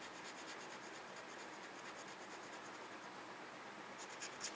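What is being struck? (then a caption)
Paper scratch-off coupon scratched with a plastic tool. A red plastic pen-like tool scratches the scratch-off grid of a small, flat paper parking coupon held on a desk. The result is a steady, quiet, bright rasping scrape with rhythmic strokes. Near the end, two sharper scratches stand out.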